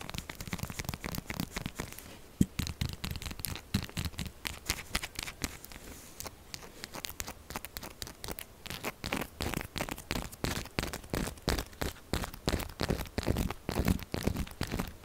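A solid purple-pink soap bar is scratched quickly and aggressively with long acrylic nails. Dense, rapid scraping and crackling strokes follow one another for the whole clip, each with a low thud and a bright, gritty edge. They come in quick rhythmic bursts that grow louder and more evenly spaced in the second half.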